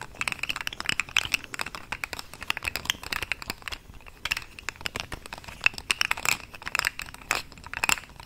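A small, hand-length, hollow, rainbow-colored segmented plastic fidget toy, of the articulated slug or pop-tube type, is held close to the microphone and bent, twisted and stretched with the fingertips of both hands. Its segments give off a dense, continuous stream of dry, bright clicks and crinkles that crackle in quick bursts, with almost no low end and no ring after each snap.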